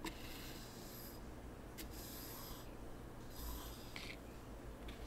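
A hand drags a small wooden T-shaped rake across a flat, empty layer of fine white sand in a small wooden zen garden tray, smoothing and scraping the surface. Soft, bright hissing scrapes come in repeated strokes over a steady low hum, leaving the surface smoothed.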